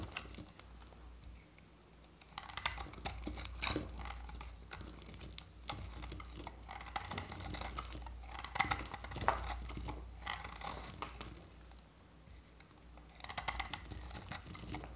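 A metal utility-knife blade shaves curls off the flat face of a solid oval bar of dry varnished orange soap with a blue coated edge, held in the hand. Bursts of dry, crisp scraping and crackling come in irregular runs, bright and gritty, with a steady low hum underneath and quieter pauses between strokes.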